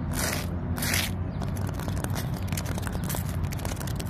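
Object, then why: Tree trunk bark. Long nails and fingertips scratch and tap the rough bark of a large, solid tree trunk. Two bright, hissing scrapes open the clip, followed by a run of quick, dry taps and crackles over a steady low rumble.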